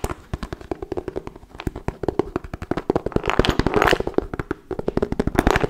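A hollow wooden folding chess board, held close, is tapped and scratched with fingernails and fingertips. The result is a fast, uneven run of dry, short clicks and knocks, with no lingering ring. A brief scratchy, brighter stretch comes in the middle.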